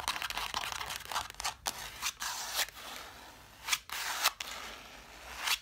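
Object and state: Scratching on cloth-bound book covers.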